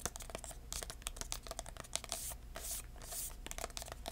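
A small red embossed, paper-covered cardboard box with metal corner caps, hollow and held in the hands, is tapped and scratched with short-nailed fingertips. Quick, dry taps with a slight hollow ring come through among bright scratching and rustling swipes, with a low steady hum underneath.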